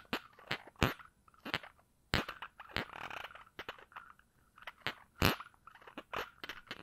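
Fingers work at the round cap of a small glass perfume bottle held in one hand, twisting or rubbing and scratching at it. The result is an irregular string of sharp, dry clicks and snaps with bright edges, plus a brief scratchy rasp in the middle, all very short with almost no ring.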